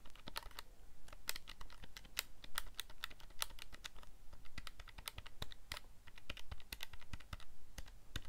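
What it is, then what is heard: Plastic calculator buttons. Fingertips rapidly press the plastic keys of a calculator keypad, producing a quick, irregular stream of short, bright, dry clicks. Each tap ends almost instantly, over a quiet, low background rumble.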